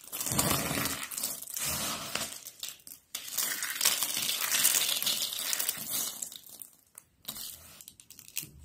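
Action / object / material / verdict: scrape / thin soap sheets / soap / none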